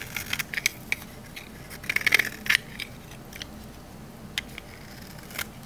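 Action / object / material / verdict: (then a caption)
scrape / olive oil bar soap cut with a metal blade / soap / none. A thin slab of solid green olive-oil bar soap, held in the hand, is cut and scraped with a metal utility knife blade and cracks into pieces. Short, bright crunching clicks and scrapes come in clusters over a faint background, with the loudest bursts near the middle. Each crack dies away almost at once.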